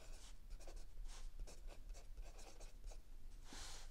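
A mechanical pencil writes continuously on a lined page of a spiral notebook resting on a wooden table, while the other hand rests still on an open paperback. Soft, bright scratching strokes of graphite on paper come in quick bursts, over a quiet low background hum.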